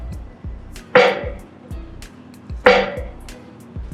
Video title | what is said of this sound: How to Fix Frozen Trailer Brakes - Free Frozen Brakes on a Tractor Trailer | once the brake lining comes free we're going to notice a ringing sound on the drum here all that resonates it's not being dampened by the brake linings